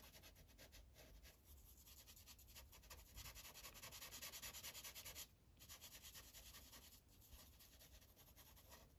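The felt tip of an orange Sharpie marker is rubbed across a thin paper coloring page resting on a clipboard in short, rapid coloring strokes. The result is a steady, bright, scratchy hiss that pulses with each back-and-forth stroke, briefly dropping out just after the five-second mark before the strokes resume more softly.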